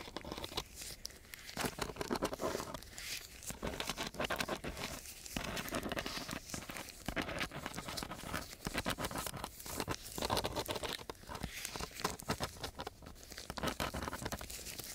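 The metal tip of a black-gripped ballpoint pen scratches and pokes at a flat sheet of brown, gritty, coarse sandpaper throughout. Dense, rough, crackly scraping fills the clip in uneven bursts, with short pauses between strokes and a bright, gritty hiss on top.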